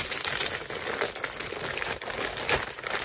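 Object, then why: Plastic poly mailer bag. A filled white plastic poly mailer bag with labels is held against the body and crinkled with the hands. It makes a steady, bright crinkling and rustling with a few sharper crackles standing out, and very little low-end weight.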